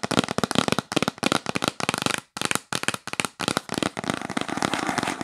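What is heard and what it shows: Long pink acrylic nails tap rapidly on a yellow printed cardboard gift box held up close. The result is a dense run of sharp, dry clicks in quick bursts with brief pauses between them, ending in a steadier, continuous flurry of taps.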